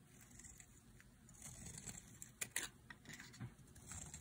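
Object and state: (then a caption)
Dry bar soap. A utility knife blade scrapes a solid, light green bar of dry soap held in the hand. The result is soft, dry, crumbly scraping with a bright, crisp texture, quiet overall, with a few sharper, louder cuts near the middle of the clip.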